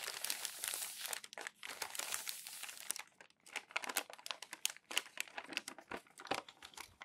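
Crumpled glossy magazine sheets stacked on a table are smoothed, rubbed and crinkled flat with fingertips and palms. A dense, bright crinkling rustle fills the first three seconds, then breaks into quick, separate crisp crackles and short paper snaps with no low rumble.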